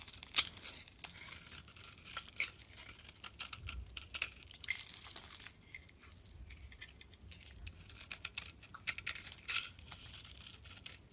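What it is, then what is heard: Bar of soap scraped into flakes. A solid bar of soap with a pink outer layer and a white core is held in the hand and scraped with a metal utility blade, shaving it into powdery flakes. Bright, crisp scraping and crackling come in quick bursts with many sharp little clicks, and the sound stays high with almost no low end.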